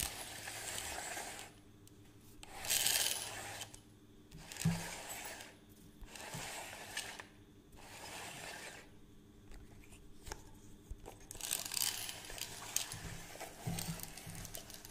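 A plastic measuring tape reel is held up while its crank is turned and the case is handled, giving mechanical ratchet clicks. Bright, hissy bursts of scratchy clicking come in uneven waves, separated by short quieter gaps, with a few sharper taps standing out.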